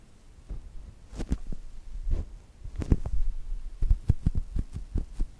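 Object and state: Foam squishy toy.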